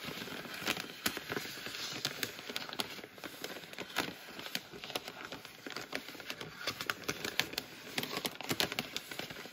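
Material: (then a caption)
Plastic. Fingertips and nails tap and scratch the surface of a medium, full, printed plastic bag of frozen Simple Truth potato puffs. The result is a steady run of quiet, bright crinkling crackles and sharp little taps with almost no low end, each one dying away at once.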